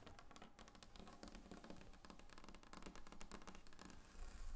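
Long painted fingernails on both hands tap rapidly across a large, solid, glossy varnished wooden tabletop. The result is a quiet, dense stream of short, dry clicks and knocks with a deep woody body and almost no ring, and the tapping grows slightly louder toward the end.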